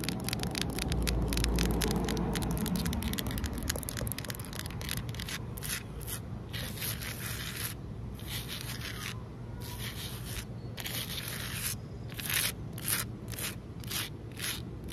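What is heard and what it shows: Long nails scratch and rub across a large, solid outdoor concrete ledge. Quick, bright rasping strokes repeat at roughly four per second over a steady low rumble that is heaviest in the first few seconds.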